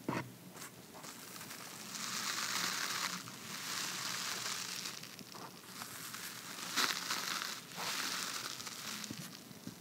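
An empty red cardboard box lid with a white paper inner surface, held in one hand, is tapped and rubbed inside with fingertips and nails. The result is a steady, crunchy, crinkling scratch with a bright high-frequency hiss. It swells in long rubbing passes, broken by a few sharp taps.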